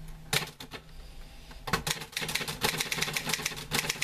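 Fingertips type on the keys of a green-grey metal portable manual typewriter with a sheet of paper loaded, and a hand throws the carriage return lever. A few sharp, bright clacks come first, then a quieter pause, then a fast, steady run of crisp keystrokes over a faint low hum.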